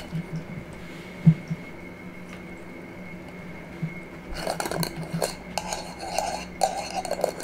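A small, empty, clear glass jar with a metal screw lid is held in the hands and tapped and scratched with long nails. A few scattered soft taps, one sharper, are followed after about four seconds by a denser run of quick clicking taps and scratchy rustling. A faint steady low hum runs underneath.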